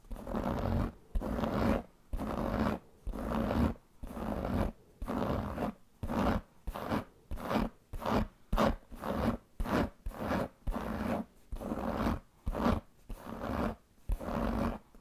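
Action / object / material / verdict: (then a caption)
scrape / pebbled leather handbag / leather / none. Long painted fingernails scratch the pebbled surface of a large black leather handbag with a metal buckle. The result is a steady series of short, dry, raspy strokes, about one per second, with a warm low-mid texture and very little brightness. Brief silences separate the strokes.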